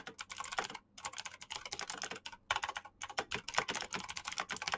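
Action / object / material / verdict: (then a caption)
tap / plastic mechanical keyboard / plastic / none. Fingertips type fast and continuously on a black plastic backlit mechanical keyboard with green clicky switches. The result is a dense stream of bright, sharp clicks that die away almost instantly, with brief pauses between bursts.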